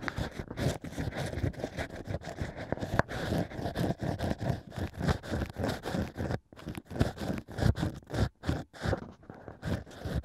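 Two bamboo ear picks scratch and scrape inside the opening of a hollow stack of cork rings set in a plush microphone ear. The result is a dense run of rapid, crackly scraping strokes, heavy in the low end with a dry rustle on top, broken by a few brief silent pauses.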